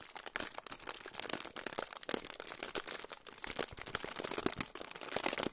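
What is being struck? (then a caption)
Aluminium foil pouch. A silver aluminium foil pouch is held in both hands close to the microphone and crinkled and rubbed with the fingertips. Dense, bright crackling and crinkling fills the clip in rapid, overlapping bursts, with almost no low end.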